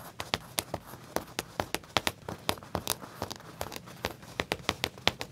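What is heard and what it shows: Fingertips with short nails tap and scratch the back pocket of black leather pants laid flat, near the pocket's metal tag. A quick, uneven run of sharp, bright, very short clicks rises over a soft, steady scratching hiss with little low end.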